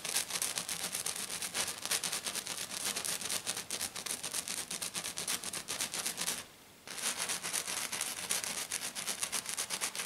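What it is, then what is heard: Glitter-coated sheet. Long black-painted nails on both hands scratch and tap fast on a flat silver glitter-coated sheet lying on a table. Dense, bright, gritty scraping and clicking runs almost continuously, with a brief pause near the end before it resumes.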